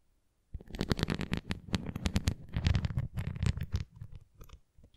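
A red translucent plastic flying ring toy with nubs is tilted in the hands while fingernails scratch its nubbed center and tap its rim. The result is a dense run of short, crisp scratches and taps with a low, muffled body and bright edges, starting after a brief silence and thinning out toward the end.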